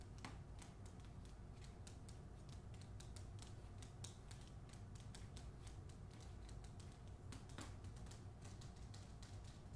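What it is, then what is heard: Hardcover book with paper dust jacket. Long nails tap and scratch rapidly across the cover and spine of a hardcover book with a glossy paper dust jacket, held up. A steady stream of quick, light clicks and scratchy brushing sits over a constant low hum, with a few sharper taps standing out. The clip stays quiet throughout.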